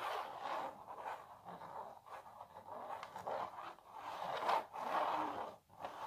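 Long natural nails scratch across a small printed canvas stretched on a wooden frame. The scratching is dry and continuous, centred in the mids with no low end, and it swells and fades in strokes with a couple of brief pauses.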